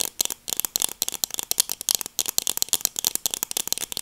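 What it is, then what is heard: Plastic sunglasses. Small, hollow black plastic-framed sunglasses with dark lenses are held in both hands close to the mic and tapped and scratched with long dark acrylic nails. A rapid, uneven run of crisp, dry plastic clicks and scratches follows, bright and thin with almost no low end. Each click stops short with no ring.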